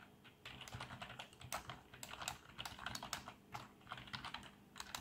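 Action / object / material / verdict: tap / plastic membrane computer keyboard / plastic / none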